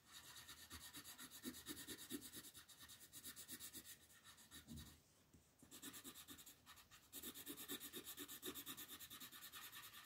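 A green wooden colored pencil shades leaves at the upper right of a flat printed paper coloring sheet lying on a table. Quick back-and-forth rubbing strokes, about two per second, make a bright, papery scratching hiss with a soft low scrape under it. The strokes pause briefly near the middle and then resume at the same steady pace.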